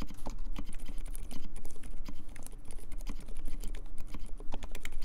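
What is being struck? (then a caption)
Mechanical keyboard with plastic keycaps. Fingertips type fast and continuously on the alpha keys of a compact mechanical keyboard with silent Dolphin switches, cream plastic keycaps and a metal case. The result is a dense, steady stream of soft, muffled, low-heavy key presses with brief bright clicks and very short decay.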